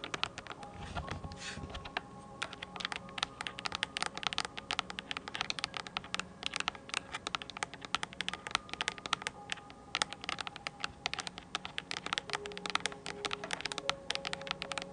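A full-size mint-blue plastic computer keyboard with round typewriter-style keycaps, held upright beside the mic, is tapped and typed on with long acrylic nails. Bright, dry clicks and clacks come in dense, uneven bursts, with faint steady tones humming underneath.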